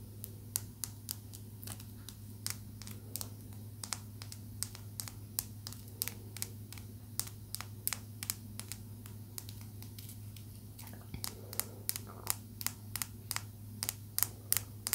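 A small, rough, solid chunk of raw blue calcite is held in both hands and tapped and scratched with long nails. The result is dozens of quick, dry, bright clicks, each dying away almost instantly, with faint scratching between them over a steady low hum.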